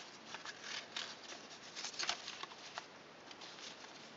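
Fingertips and fingernails press and rub along the folds of a thin sheet of pink origami paper, partly folded toward a swan shape, to crease them. Quiet, bright rustles and crinkles come in an irregular stream of short bursts with almost no low end. The folds are pressed into sharper creases.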